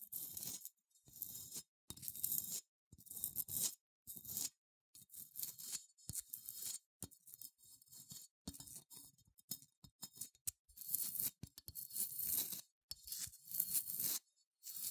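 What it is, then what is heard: Unglazed ceramic figurine scratched. Long nails scratch the legs and bumpy body of a small cream, matte, unglazed ceramic sheep figurine held in hand. The result is quiet bursts of dry, bright scraping and crackling that start and stop repeatedly, with only a faint low rustle beneath.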